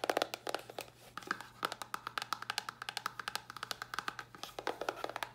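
Long nails tap rapidly on a small, hollow white cardboard box with a red top. The quick, irregular taps sound dry and hollow, with a mid-pitched knock near 700 Hz, bright clicky edges and almost no low end. Each tap dies away almost instantly with no ring.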